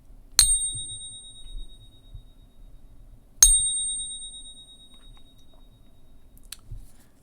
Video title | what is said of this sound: With Silver Exploding Watch Out For THIS Major Threat! | you can hear it as it rings and you can hear it is it is a beautiful sound